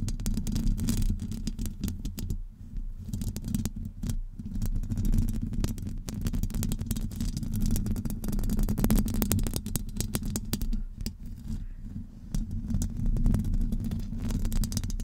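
Long almond-shaped acrylic nails from both hands scratch and tap the round, hollow metal wire-mesh grille of a large USB microphone. The result is a dense, continuous stream of crackly scratches and quick taps over a heavy, boomy low rumble, with short dips in the texture along the way.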